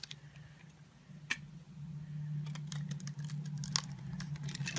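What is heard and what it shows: A metal blade scores a solid green bar soap held in the palm in a grid and shaves off small cubes. Quick, bright crackling scrapes and sharp clicks come in irregular bursts, growing busier toward the end, over a steady low hum.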